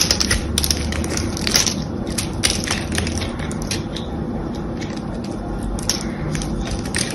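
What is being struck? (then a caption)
Bar of soap. A small blade cuts and scrapes a solid beige soap bar scored with a diamond pattern, lifting flakes and chunks. Dense, crisp crunching and scraping runs steadily throughout, with sharp bright clicks over a low rumbling body.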